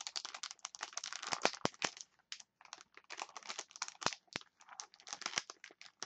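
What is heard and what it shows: Fingers with long nails crinkle and scratch a clear plastic package of wooden chopsticks. Dense, bright crackles and crisp taps come in quick bursts, with a short pause partway through, and each one cuts off almost instantly with little low end.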